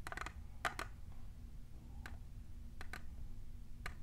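A tall, hollow, clear printed plastic tumbler is tapped by long nails fitted with plastic clips. Light, dry clicks come in scattered bursts, a few quick ones close together and others spaced apart, each dying away almost at once. A low, steady rumble sits underneath throughout.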